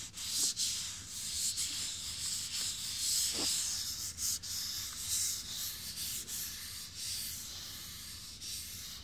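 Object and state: Fiberglass dummy head.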